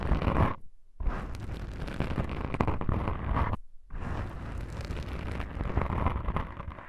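Long pink nails scratch and rub the black foam windscreens of a microphone, making a dense, rumbling scratch heavy in low frequencies with a rough, crackly texture above it. The scratching runs continuously, breaking off twice into brief near-silence before starting again.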